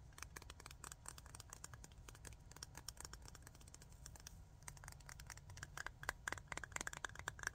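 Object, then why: Glass jar of rhinestones with ridged aluminium lid. Long nails rapidly tap and scratch the ridged aluminum screw lid of a small clear jar full of rhinestones. Dense, sharp metallic clicks and scrapes flicker over a steady low rumble, with a faint ringing tone near 1.6 kHz. The taps grow louder and more distinct toward the end.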